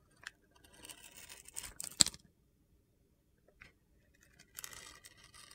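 A utility knife blade shaves slices off the edge of a small, solid bar of soap with a red-pink glitter coating, held in the hand. Bright, gritty scraping and crunching comes in bursts, with a sharp click near the middle. A quiet pause follows, then more high, scratchy shaving.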